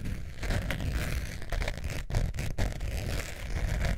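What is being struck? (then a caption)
Faux leather zip wallet. Long nails scratch the textured surface of a long beige faux leather zip wallet with a metal zipper, held in both hands. The result is a steady, dense scraping and crackling, heavy in the low end with a soft papery hiss above. A few brief pauses break it up around the two-second mark.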